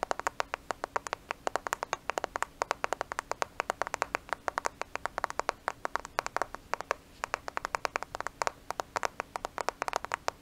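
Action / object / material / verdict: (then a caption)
tap / smartphone with glass and plastic body / glass and plastic / none. A black smartphone with a glass and plastic body is held in front of the microphone and tapped and scratched with fingernails. It makes a rapid, steady stream of sharp, dry clicks with crisp, bright edges and almost no ring or low end, with a brief pause near the seventh second before the tapping resumes.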